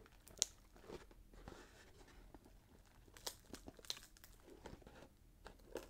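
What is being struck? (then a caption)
Cardboard box wrapped in paper. A small rectangular cardboard gift box, wrapped in red patterned paper with a gold glitter ribbon and bow, is held in both hands while thumbs and fingertips press, crinkle and scratch the wrapping paper. Soft, bright crinkling and scratching runs throughout, with four sharper high crackles standing out.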